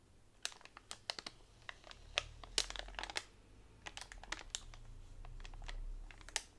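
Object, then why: Bundle of bamboo straws in plastic wrap. Long nails tap and scratch along a flat pack of hollow bamboo straws wrapped in clear plastic on a table. Quick, dry clicks and crinkles of the wrap come in an irregular run, bright and short with almost no ring, over a faint low rumble.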